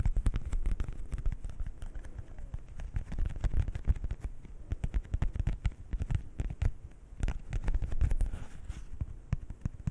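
A single thin, coated paper playing card of the heart suit, held in both hands near the microphone, is scratched and tapped with fingernails. A dense, rapid stream of short, dry clicks and scratches runs throughout with little ring and a heavy, close-up low end. The crackly texture stays steady for the whole clip.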